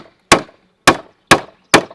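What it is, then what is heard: Wooden peg tightening in timber joint. A fir wooden peg is hammered into a timber joint of a sawhorse with four sharp, bright wooden knocks, each dying away quickly. The peg tightens up in the joint as the pressure increases with each blow.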